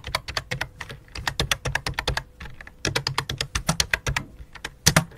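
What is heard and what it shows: Fingertips of both hands with long dark nails type rapidly on a full-size white and light-blue plastic computer keyboard resting on black cloth. Around thirty quick, short, clicky key taps with low thunks beneath them come in bursts with brief pauses. A faint steady hum runs underneath.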